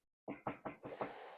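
Five quick knocks on a particle board surface, made to "knock on wood" for luck about a Jeep that has been running without problems. The knocks are dull, hollow mid-range thuds with little deep bass or bright top, each decaying quickly, and the last two run together into a faint lingering tail. The surface is particle board rather than real wood.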